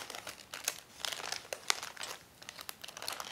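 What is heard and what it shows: Fingertips with painted nails press, rub and crinkle the surface of a medium brown kraft-paper padded shipping envelope that lies flat on a wooden table, looking hollow and mostly empty. The result is dry, bright crinkling and crackling in quick irregular bursts, with sharp snaps standing out and almost nothing in the low end.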